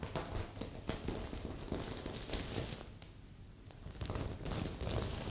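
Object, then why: Sequin fabric pillow. Long nails tap and scratch along the top edge of a magenta sequin heart pillow, while a second pillow nearby stays untouched. The sound is a quick, irregular run of soft thuddy taps layered with bright, crinkly sequin rasping. It eases to a quieter stretch midway before picking up again.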